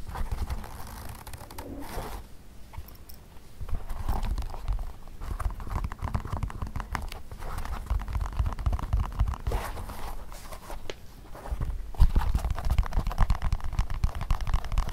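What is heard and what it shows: Fingertips tap and scratch the toe caps, insoles and sides of a pair of empty, hollow black leather Mary Jane shoes with elastic straps resting on carpet. The result is a dense, uneven stream of soft, muffled low thumps mixed with dry scratching and crinkly rubbing, with louder bursts of tapping in places.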